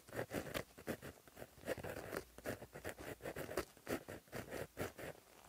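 A plastic-barrel gel pen with a metal tip, held in the fingers, writes across a flat black lined paper notebook page resting as a solid sheet on a surface. The tip scratches along the paper in a quick run of short, dry strokes, mostly in the low-mid range with faint bright edges. The strokes come in an uneven patter of about fifteen distinct scratches.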